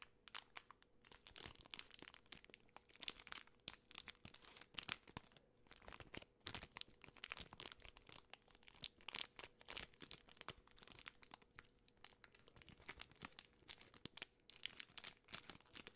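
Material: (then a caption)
Plastic film. A full Twix bar in a plastic film wrapper is crinkled and rubbed by fingertips and long nails. Dense, bright crackling and crinkling fills the clip as a continuous stream of sharp, quick-fading snaps at a quiet level. There is very little low end.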